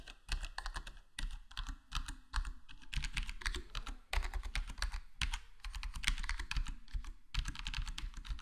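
Fingertips tap slowly across a full-size black plastic HyperX Alloy Core gaming keyboard with square plastic keycaps and a foam-dampened case, partly with single-finger presses. The result is a steady run of short, muffled clacks with a deep, thumpy body and a brief bright tick on each key.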